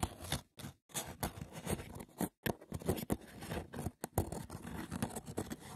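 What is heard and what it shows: Fingertips and short nails rapidly tap and scratch the woven top of a hollow, braided seagrass wicker box. The result is a quiet, dense crackle of rough scraping and light taps, broken by a few brief silent pauses.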